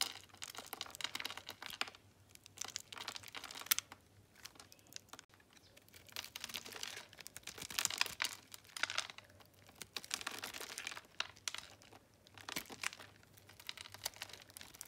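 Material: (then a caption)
Soap. A metal utility knife slices small cubes off a solid white, dry bar of soap held in the hand and scored in a grid. The cuts make crisp, bright crunching and scraping in quick bursts, separated by short quiet pauses.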